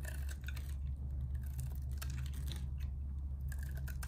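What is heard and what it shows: A narrow piece of solid purple bar soap is held upright and shaved with a metal box-cutter blade. The clip is a continuous run of soft scraping and carving strokes, with bright crisp flecks over a steady low rumble.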